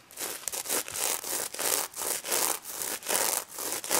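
Long red acrylic nails scratch and rub across a soft, stuffed plush pig toy covered in reversible pink and gold sequins. About nine bright, hissing, scratchy strokes follow one another at an uneven pace, with the sound concentrated in the high range and almost no low end.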